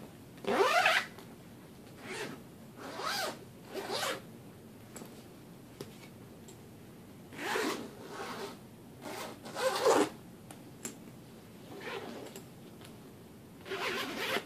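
Fingers pull the metal zipper on the top pocket of a large black fabric suitcase back and forth, zipping it. Bright, raspy zip strokes come in short bursts, separated by quiet pauses.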